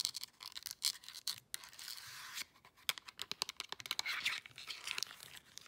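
Long nails rapidly tap and scratch a handheld plastic LED remote control with buttons, turned over to show its back. Quick, dry, bright clicks come in fast bursts, with stretches of thin, hissy scratching between them, all high and crisp with no low end.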